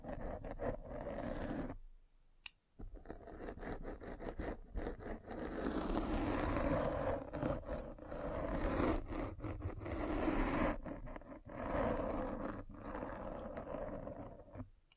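A metal-spiked derma roller is rolled over the top and side of a black foam windscreen on a microphone, making a continuous crunchy scraping and scratching rustle. The sound briefly drops out near the two-second mark, then carries on with uneven swells, its weight sitting in the low and middle range.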